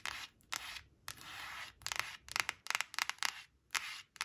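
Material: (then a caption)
Laminated cardboard. Long acrylic nails scratch and rub rapidly across a thin, flat laminated cardboard flash card printed with sunflowers, resting on a woven cloth. Longer, sustained rubbing strokes give way to a quick series of short, crisp scratches, all bright and dry with almost no low end and no ring after each stroke.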